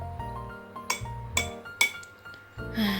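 An empty drinking glass with no water in it is struck three times, giving bright, short clinks with a high ringing tone around 2.2 kHz. The strikes are made to compare its sound with a glass that holds water, over a steady low musical hum.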